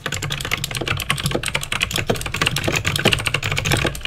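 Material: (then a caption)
Plastic. Fingertips type rapidly on a backlit mechanical keyboard with plastic keycaps and clicky green switches. A dense, steady stream of sharp, bright clicks rides over a softer low clack from each keystroke, and every click dies away almost instantly.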